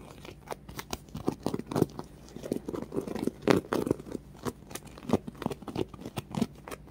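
Painted fingernails scratch a small, solid polyurethane foam popcorn-box squishy with yellow bumpy popcorn on top and a red-and-white striped base. Quick, dry scratching strokes come in irregular bursts of soft, crinkly scuffs. The sound sits mostly in the low-mid range, with little brightness and no ring after each stroke.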